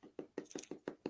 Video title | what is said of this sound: 🔴 DOUBLE LIVE UNLEASHED UNBOXING: Batman Detective Comics 1000 1/3 Statue - Prime 1 Studio | it sounds like plastic I'm knocking on it it literally sounds like I'm knocking on my tire